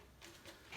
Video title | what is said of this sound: Coach Carl’s Tubeless Tire Tips! | hear the fluid sloshing in there